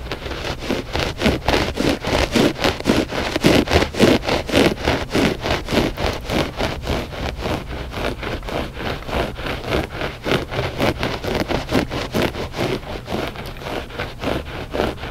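Short fingernails scratch the pile of a flat gray loop-pile textile rug, solid and soft to the touch. Rapid, fairly steady back-and-forth strokes make a dry, raspy rustle with a broad, bright texture and a soft low thrum underneath, swelling slightly louder around the middle.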